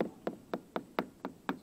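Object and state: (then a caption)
Checked wooden hull plank, dull sound. Seven light taps on the checked, cracked part of a wooden hull bottom plank, each a short, dull knock with almost no ring. The plank sounds dull here compared with the solid spot against the frame.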